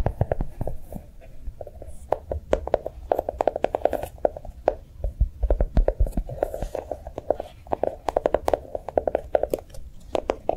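A small notebook with a brown chocolate-bar cover is held in the hand and tapped and scratched with long nails. Quick, dry clicks and taps come in rapid bursts over soft scratching, each tap cut off almost at once with a midrange tone around 600 Hz.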